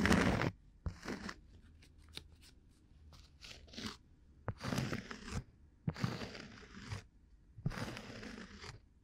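A round, flat, solid cork coaster held at a microphone ear is scratched with a bamboo ear pick that has a fluffy tuft on the end. Dry, crunchy, broadband scratching comes in separate bursts with a few sharp clicks, separated by quiet pauses.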